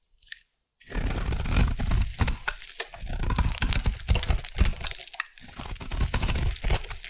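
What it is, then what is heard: Bar soap carved with a blade. A solid rectangular peach bar soap, held in the hand, is carved along its edge with a metal blade into crunchy curls. After a brief near-silent start, a dense stream of bass-heavy crunching and scraping follows, with faint high-pitched crackle. The carving pauses briefly near the five-second mark, then resumes.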